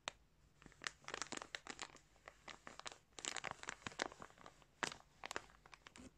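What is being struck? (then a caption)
Plastic bag stuffed with yarn. Close-up fingertips scratch and pinch a clear plastic bag stuffed with colourful yarn, crinkling the plastic. Quiet, bright, dry crackles come in irregular bursts with almost no low end and no ring, with denser clusters of crinkling near the middle and end.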